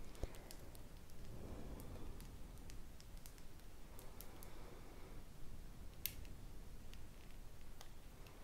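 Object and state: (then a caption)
Glass perfume bottle tapped with fingernails. Long painted fingernails tap a small clear glass perfume bottle with a green label, apparently filled with liquid, with a metal spray nozzle and its cap seen only at the start, held in both hands. Quiet, sharp, bright tick-like clicks come at irregular intervals over a steady low rumble, with a couple of soft, muffled swishing stretches in between.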